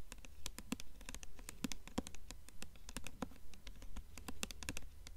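Long nails tap rapidly on the paper dust jacket front cover of a blue hardcover book held upright in both hands. The result is a quick, uneven patter of short, crisp, bright clicks with almost no ring, over a steady low rumble.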